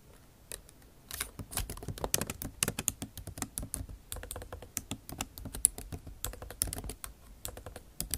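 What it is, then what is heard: Laptop keyboard with plastic keys. Long acrylic nail tips type on a MacBook Pro's backlit keyboard of bare plastic keys set in an aluminum body. After a near-silent first second, a quick, steady run of short, sharp typing taps follows. Each tap is a bright click over a soft low thud and dies away almost instantly.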